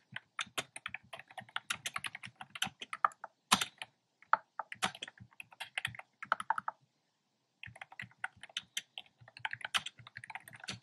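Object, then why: Plastic keyboard with round plastic keycaps. Fingertips with short nails type on a black plastic keyboard with hollow, round retro-style plastic keycaps in cream, pink and red. Quick, bright, clacky taps arrive in bursts, with brief pauses near 4 seconds and around 7 seconds before the typing resumes. Each tap is short and dry.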